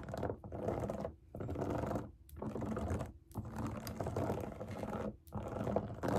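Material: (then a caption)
Silicone. Long nails tap and scratch the hollow bubbles of a large round rainbow silicone pop it fidget toy resting on a table. Rapid, dense clicks and scrapes come in bursts separated by brief pauses. The sound is soft and muffled, with little ring after each tap.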